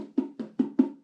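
A metal part thought to belong to the vacuum system and connect to the bottom end of a Morris Marina Coupe 1.3 Deluxe's 1275cc engine is tapped four times during engine stripping. Each tap gives a short, hollow-sounding knock with a mid pitch around 260 Hz that dies away quickly. The part sounds hollow, but what it is remains unconfirmed.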